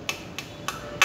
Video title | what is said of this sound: JAPAN SURPLUS ROAD BIKE - ALL ITEMS UNDER NEGOTIABLE | kung pitikin mo siya, oh, yung tunog ko, bungol